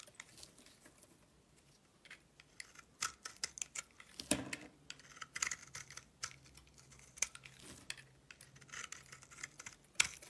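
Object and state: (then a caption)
Soap bar being carved. A blade carves a solid pink soap bar held in the palm, making a quiet series of crisp, bright scraping and shaving clicks at an irregular pace. Each cut is short and dry with no ring, over a faint, steady low hum.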